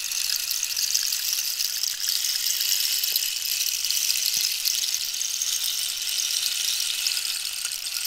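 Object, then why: Dried cactus wood rainstick filled with small pellets. A long, hollow rainstick made of dried cactus skeleton wood with holes and filled with small pellets is held in one hand and tilted, while long pink nails tap and scratch its ribbed wooden surface. A steady, bright, high hiss of pellets trickling inside runs throughout, with a few faint taps showing through.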